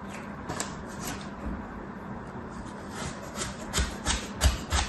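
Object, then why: Kinetic sand in a plastic tray. A red plastic cutter slices and scrapes through a flat layer of beige kinetic sand stamped with patterns in a shallow mint plastic tray, while the other hand holds the tray. A soft, steady gritty rubbing runs over a low rumble, with bright crackly bursts that grow louder and more frequent toward the end.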